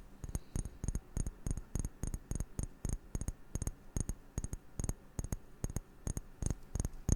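A glass object is tapped quickly, about 29 soft taps that often fall in pairs or short clusters. Each tap is a short, dull knock with a faint bright click on top and no lingering ring. The tapping is quiet and close, in an uneven rhythm.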